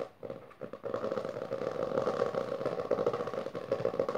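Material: Cloth, board.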